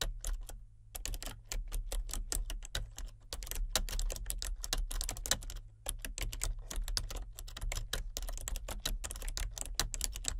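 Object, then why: Plastic computer keyboard. Both hands type with fingertips and painted nails on a full-size plastic computer keyboard with color-changing backlit keys. Quick, bright clicking keystrokes come in steady runs, with brief pauses near 1 and 6 seconds. A constant low hum sits underneath.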